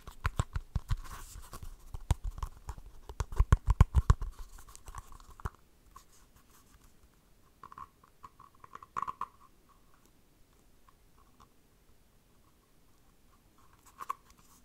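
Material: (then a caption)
Faux leather. Fingernails with dark polish scratch and tap the pebbled surface of a small, hollow, empty cylindrical dice cup covered in textured map-print faux leather, held up close. Dense, rapid scratching and tapping with low thumps fills the first five seconds. It then drops to soft, sparse scratches, with brief louder bursts near 9 and 14 seconds.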